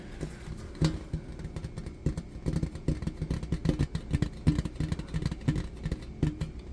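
A thin, flat, rectangular shiny silver-colored metal serving tray with a beaded rim and a piece of tape on it is held up and tapped with fingertips and nails. Quick, uneven taps pile into a dense patter of dull, low thuds with a faint metallic ring around 300 Hz. Each tap dies away almost at once, with only a few sharper, louder knocks standing out.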